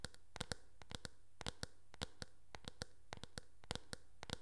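Long nails tap the back and rim of a teal hard plastic hairbrush held sideways, making an irregular run of sharp, dry clicks. Each tap is bright and dies away almost instantly, over a faint low hum.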